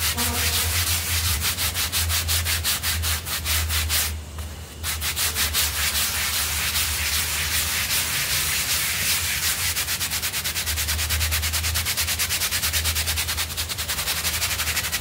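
A small rectangular blue synthetic pile rug covered in white foam is vigorously scrubbed with a stiff-bristled hand brush while held flat by hand. Steady, bright, rhythmic scratching strokes repeat quickly, with a low hum underneath and a brief dip in the scrubbing around four seconds in.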